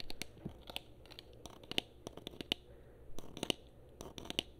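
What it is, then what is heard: Plastic game controller tapped and scratched with nails. Long nails tap and scratch the back and top of a hollow black and blue plastic PS4 controller, producing quick, dry clicks and crisp scratching. The sounds are sharp with almost no ring, over a quiet low hum.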